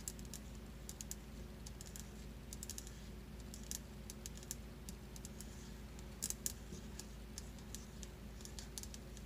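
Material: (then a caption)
Stone. Long acrylic nails tap rapidly on a large, flat slab of solid white marble-look stone countertop, like fast typing. The result is a stream of short, sharp, high-pitched clicks over a steady low background hum.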